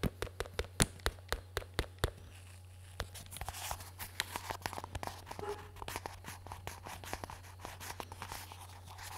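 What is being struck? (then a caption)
Plastic hearing-protection earmuffs. Fingertips tap and scratch the hollow cups of black plastic hearing-protection earmuffs with a headband, held at the microphone. Nine sharp, dry taps come in quick succession over the first two seconds, followed by a brief pause and then a denser run of lighter taps and rustling scratches. A steady low hum runs underneath throughout.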